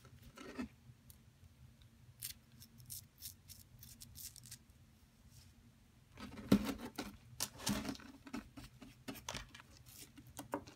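A solid yellow plaster excavation block, tilted up in a hand gripped by long nails, is gouged with a metal pick tool, leaving a dug-out hole. Sharp scraping clicks and gritty crunches come in scattered bursts over a faint low hum, sparse and soft at first, then denser and louder in the second half.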